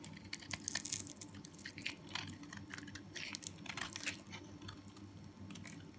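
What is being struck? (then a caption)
Bar of soap scraped with a small knife. A small metal knife with a blue handle scrapes and cuts the edge of a hand-held solid yellow soap bar, breaking off crumbly flakes and powder. Dense, crisp crunching and scraping bursts crackle in the high range, over a faint steady low hum.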